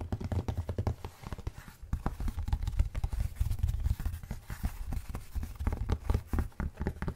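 Fingertips and short nails tap and scratch across a thin, flat, solid rectangular cork placemat held upright in front of the microphone. The result is a steady run of rapid, dull, low thuds that stop dead with no ring, mixed with soft scratchy rustles.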